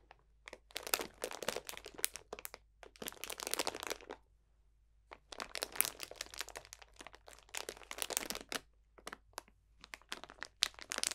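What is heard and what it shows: Fingertips crunch a clear cellophane bag full of dried potpourri botanicals, giving bright, dense crinkling and crackling in rapid bursts. The bursts pause for about a second near the middle, then resume, with no low rumble beneath.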